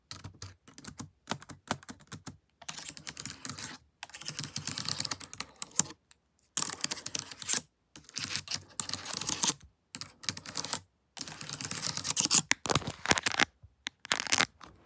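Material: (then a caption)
Plastic. Long nails with colored paperclips attached tap and type on a laptop keyboard with plastic keys. Bursts of rapid, crisp clicking and clacking come in quick runs separated by brief silences. Each click is bright and high-pitched and dies away almost instantly.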